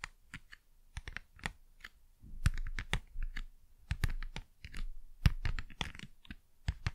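Fast, crisp tapping on cardboard packaging, with many short, dry taps coming in quick uneven bursts. Each tap is a brief click over a soft low thump and dies away almost instantly.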